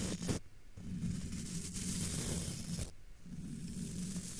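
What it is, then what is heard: Metal mesh microphone grille being brushed. A thin brush, held in a hand with long dark nails, sweeps across a hollow, domed black metal wire-mesh microphone grille. It makes a steady, breathy scratching rustle over a low droning hum. The brush lifts off briefly in the middle, leaving short quieter gaps before the scraping resumes.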